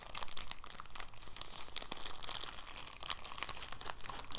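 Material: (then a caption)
Plastic film. A folded, clear, thin soft plastic bag is squeezed and unfolded by the fingertips. It gives off a steady run of quiet, bright crinkles and crackles with no pauses, each one very short with no ring.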